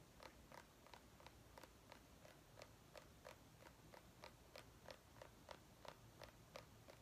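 Long painted nails tap and scratch a small white ribbed mini pumpkin, a hollow gourd held in one hand. About 18 quiet, short, hollow clicks come at roughly three per second in a loose rhythm, with a mid tone near 960 Hz and bright scratchy edges that die away almost at once. A faint low rumble runs steadily underneath.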